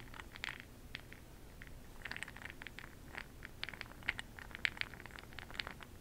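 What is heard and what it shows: A makeup brush stirs a small clear glass cup full of bronze makeup pearl beads held in hand, giving a quiet scattered series of sharp clicks and rattles. The clicks are bright, centred around 2.3 kHz, and each one stops almost instantly over a faint low background.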